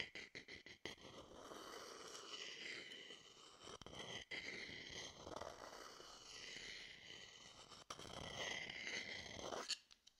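A wooden stick taps a hollow, empty wooden bowl held beside the mic with a quick run of sharp, dry knocks, then scrapes steadily around it. The long rasping scrape carries a ringing tone near 2 kHz that sweeps up and down in slow waves, broken by a few single taps before ending on a final knock.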